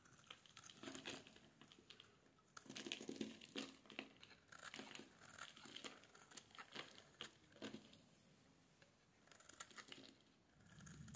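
A solid yellow bar of dry soap, held in the hands, is shaved with a metal blade into crumbly shavings. The result is a run of soft, crinkly scraping strokes with bright, dry crackle and brief pauses between bursts.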